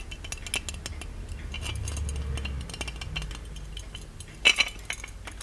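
Fingertips tap and scratch the lid and spout of a small, ornate, hollow gold-plated metal genie lamp with a lid chain. A steady patter of light, bright clinks and short scrapes rides over a low rumble. Two sharper metallic taps stand out near the end.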